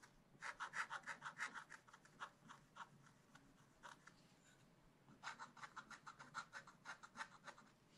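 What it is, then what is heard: Scratch-art card being scratched. A wooden stylus scratches the black layer off a thin black-coated scratch-art card in a spiral book lying flat, working in small strokes around a panda. Two bursts of quick, dry, papery scratches with bright, hissy edges are separated by a quieter pause of lighter scraping. Each stroke is short and dies away at once.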